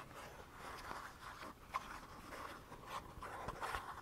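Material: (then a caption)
Plastic. A small, hollow plastic squeeze tube of Balea hand cream, likely partly filled, is held in both hands and scratched along its printed surface with short fingernails. The result is a soft, continuous, raspy scratching centered in the midrange, with a few sharper scrapes standing out near the end.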